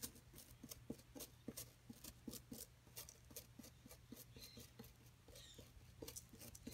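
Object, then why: Plaster block. A brush-like tool and a metal pick rub and scrape the surface of a solid white plaster block from a dinosaur nest excavation kit. A rapid series of short, dry rasping scrapes with bright, crisp edges plays over a steady low hum.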